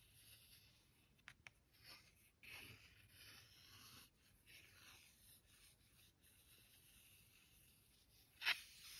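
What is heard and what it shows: A fingertip and nail trace and rub across the surface of a thick paper greeting card with a bear illustration, lying flat on a stack of cards. Quiet, bright, papery scratching and rubbing comes in soft swells, with two tiny ticks early on and one sharper, louder scratch near the end.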